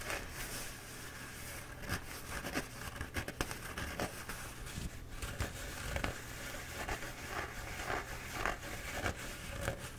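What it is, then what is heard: Paper towel roll being scratched. Fingertips and nails scratch the surface of a bee-printed paper towel roll held in both hands. Soft, irregular papery scratches and crinkly rasps come in quick bursts over a steady low hum, with brief brighter swipes standing out here and there.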